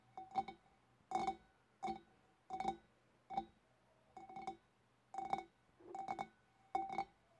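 A large, empty, clear glass fish bowl with a wavy rim is held in both hands and tapped on its shoulder with long, dark-painted nails. Quick clusters of light clicking taps come at an uneven pace, each bringing out a hollow, resonant glassy ring centred near 785 Hz.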